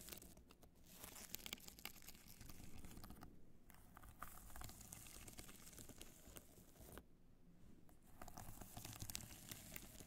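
Long dark nails scratch across a small black hard-shell evening clutch studded with multicolored rhinestones and fitted with a metal clasp, held in both hands. Its hollow case gives a dense, crinkly, ticking scratch with bright sparkle and a low hollow thrum. The scratching eases briefly twice, near the 3.5- and 7.5-second marks.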